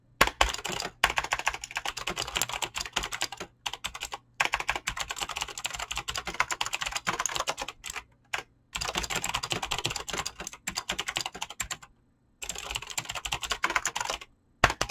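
Fingertips fast-type on a mechanical keyboard with clicky green switches and PBT plastic keycaps, producing dense, bright, crisp clicks in rapid bursts. Short silent pauses break up the typing.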